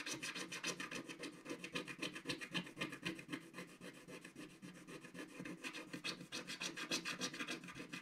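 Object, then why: Scratch-art coated card page scraped with a wooden stick. A wooden stick scratches back and forth across the coating near the bottom of a flat, solid, black-coated scratch-art card page. The result is a steady run of quick, dry, raspy strokes, about three to four per second. Each stroke is short and bright, with almost no ring and little low end.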